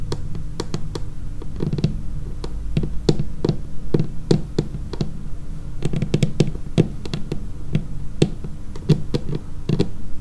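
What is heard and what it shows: Long painted fingernails tap across the edge and surface of a dark laminated wooden tabletop. A steady, irregular run of short, dry taps follows, each a sharp click over a low, hollow thump that dies away almost at once.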